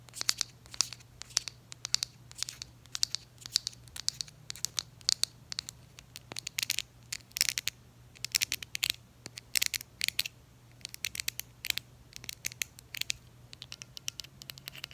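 Long acrylic nails tap and scratch along a small, hollow purple plastic e.l.f. makeup bottle with a shiny metallic-green pump cap, held in hand. Rapid, bright clicks and scrapes come in irregular clusters, with a faint low hum underneath.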